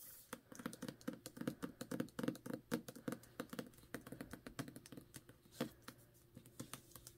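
Long nails tap quickly on the paper dust jacket of a solid Ninth House hardcover book, first while it lies flat and then while it is held. The result is a rapid, dense run of dry, clicky taps with a short, muted ring and a faint low tonal body.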